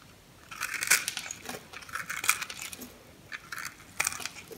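A metal knife cuts into the grid-scored surface of a solid mint green soap bar held in a palm, slicing it into small cubes. Crunchy, bright scraping and cutting sounds come in an irregular series of short, dry bursts, with the sharpest crunches standing out above the rest.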